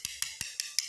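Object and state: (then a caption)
Solidly bonded ceramic floor tile. Five sharp, short taps on the last ceramic floor tile in the farthest corner, a spot that often ends up hollow. Each tap gives a bright, dry click with almost no ring and no low boom. The tile sounds packed solid and well bonded.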